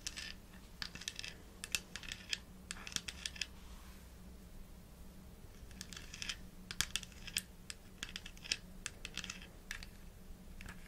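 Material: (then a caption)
Plastic. Long nails tap and scratch the orange plastic cap and body of a small, hollow white plastic supplement bottle with a printed label while it is held and turned. Quick, bright, crisp clicks come in irregular clusters, mixed with short scratchy rustles. A brief quieter gap falls near the middle, over a faint, steady low hum.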